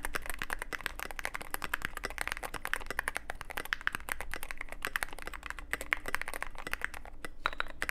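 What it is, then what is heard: Mechanical keyboard with plastic keycaps. A mechanical keyboard with plastic keycaps and a black aluminum case is typed on with steady fingertip strokes. Rapid, dense clicky-clacky keystrokes run continuously with short, sharp attacks and a bright tone around 2 kHz. A low hum sits beneath the typing.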